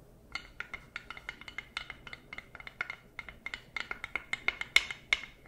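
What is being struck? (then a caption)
Wooden spatula tapped with plastic claws. A wooden spoon or spatula with a solid flat head, held in a costume paw and tapped with plastic claws. The taps come as quick, irregular, bright clicks with a short ringing tone around 2 kHz. They are quiet at first and grow louder toward the end.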